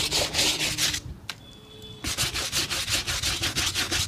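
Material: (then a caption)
Leather. A small bristle brush scrubs a hollow, empty black leather work shoe held by hand and lathered with foam, working along the upper and toe. Bright, hissing back-and-forth strokes repeat in a steady rhythm, break off for a quiet second, then resume at the same brisk pace.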